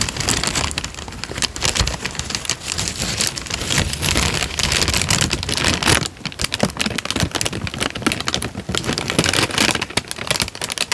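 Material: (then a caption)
Paper. A thin, light-brown paper sheet is held in both hands while the fingertips wave, flex and crinkle it. The result is a dense, continuous rustle of bright, crisp crackles, like rain on a surface, with a brief dip in loudness around six seconds before the crinkling picks up again.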